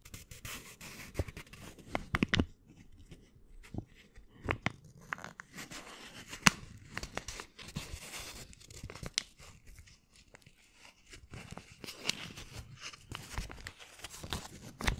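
A folded US dollar bill of thin paper is crinkled and scrunched with fingertips close to the microphone. Quiet, dry crackles and rustling crunches come in uneven bursts, with sharp, bright snaps that die away almost instantly.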